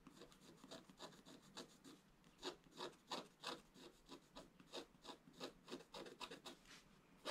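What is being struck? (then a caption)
Black-coated scratch art card scraped with a wooden stylus. A wooden stylus scratches away the black coating of a flat scratch art card lying on a table, in quick, irregular repeated strokes. Each stroke is a short, dry, bright scraping burst with almost no low end. Some strokes are louder and sharper than others.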